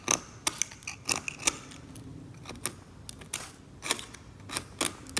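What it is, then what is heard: Scalpel scraping varnish off a painting. A metal scalpel scrapes glossy, thick varnish off the surface of an oil painting in strokes, lifting it away in flakes. The clip is a run of short, sharp, bright scratchy scrapes and ticks, spaced irregularly over a quiet, faintly hissing background.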